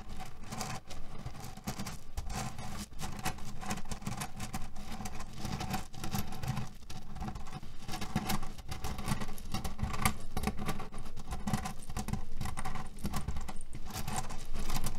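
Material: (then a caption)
Cherry pits. Fingernails of both hands scratch fast over a cotton canvas pillow filled with cherry pits. The result is a dense, continuous, low rustling patter that rattles steadily for the whole clip and grows slightly louder toward the end.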